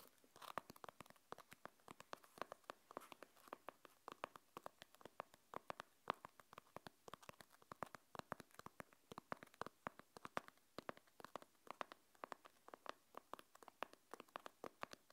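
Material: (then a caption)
EVA foam, fabric. Long painted nails tap and scratch the mesh fabric cover of a small, black, zippered hard-shell EVA earbud case, held closed and hollow in one hand. The result is a quiet, steady stream of dozens of short, dry clicks and scratchy rustles, centered in the midrange around 1 kHz, with very little low end and no ring after each tap.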